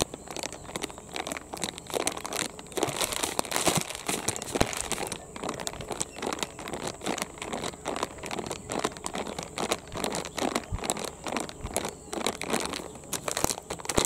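A medium, soft and flexible blue printed plastic Rin detergent pouch, apparently empty or nearly empty, is held in both hands and crinkled and stretched with the fingers. Dense, bright crinkling and crackling runs continuously for the whole clip, rising and falling in small bursts.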